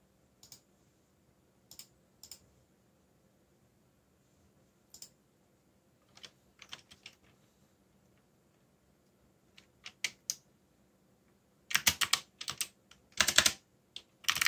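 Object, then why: Plastic mechanical computer keyboard. Fingertips with short nails, one finger bandaged, type and tap on a full-size backlit mechanical computer keyboard with dark plastic keycaps bearing Korean legends, resting solidly on a desk. Sparse, isolated bright clicks at first give way to denser, louder bursts of rapid typing near the end. Each keystroke is crisp and dies away almost instantly.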